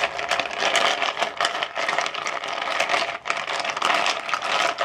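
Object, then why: Ice cubes in a plastic bowl. Fingertips rake and stir ice cubes inside a translucent plastic bowl. A dense, continuous clatter of cubes knocking and scraping against each other and the bowl, bright and crisp with almost no low end. The rattling stays steady throughout, dipping only briefly near the end before picking back up.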